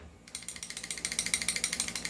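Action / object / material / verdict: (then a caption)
shake / airsoft pistol barrel / metal / loose. A non-upgraded T-Rex airsoft pistol is shaken rapidly, and its loose barrel rattles with a fast run of about 19 bright, metallic clicks that jingle like bells. Each click is sharp and dies away almost at once, and the rattling starts after a short quiet lead-in. The loud rattle shows the barrel is loose, which is not normal for the pistol.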